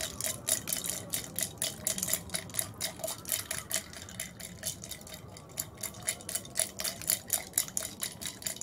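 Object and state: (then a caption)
Glass tumbler with ice and liquid. Long red nails tap rapidly on the outside of a tall clear glass tumbler holding ice and purple-tinted liquid, while the ice shifts inside. The result is a fast series of bright, short clicks and faint high glassy tinks, steady through most of the clip and a little softer near the middle.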